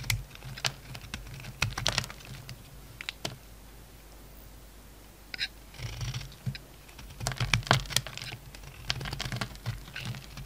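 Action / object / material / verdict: scrape / bar of soap cut with a knife blade / soap / none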